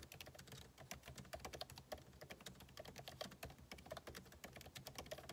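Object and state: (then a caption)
Laptop keyboard being typed on. Fingertips type rapidly on the plastic keycaps of a backlit MacBook Pro keyboard set in an aluminum body. A dense run of quick, light clicks and taps follows, each with a short bright tick and a faint low thud.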